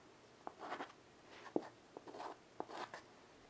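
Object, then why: Wood-framed chalkboard with chalk. A child's hand draws with white chalk on a small wood-framed chalkboard lying flat on carpet. Sharp little taps of the chalk meeting the board alternate with soft, scratchy strokes across its surface. The sound is quiet and mid-range, with short bursts of bright hiss.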